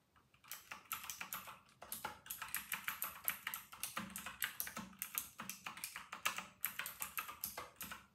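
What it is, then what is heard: Plastic mechanical keyboard being typed on. Fingertips of both hands type fast on a full-size white RK960 mechanical keyboard with round retro plastic keycaps. A quick, steady stream of bright, crisp plastic clicks and clacks, each key strike dying away almost instantly, with faint low thumps from the keys bottoming out underneath.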